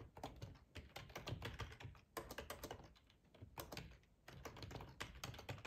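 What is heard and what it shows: Fingertips of both hands type on a black plastic, full-size ergonomic split keyboard resting on a cloth tablecloth. Rapid, uneven runs of soft, muted key clacks with a low thud and brief bright ticks die away almost instantly, broken by short pauses between bursts.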